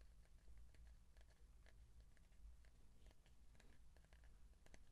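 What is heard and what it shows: Fingertips tap and scratch along the surface of a hollow cardboard tube held horizontally close to the mic. Soft, dry ticks and scratchy brushes come in an irregular, closely spaced patter over a steady low hum, with faint bright clicks and each tap dying away almost instantly. The overall level stays very quiet and intimate.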